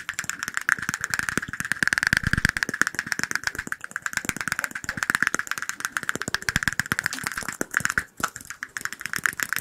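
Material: Glass.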